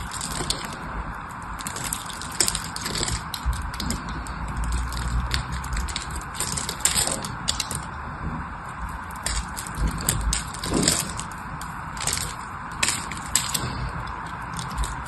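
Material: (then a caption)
Soap. A metal blade scratches and carves the surface of a solid teal-green bar of soap held in the hand, chipping pieces off. Dry, gritty scraping and crisp bright clicks repeat irregularly over a steady low hum and a midrange hiss.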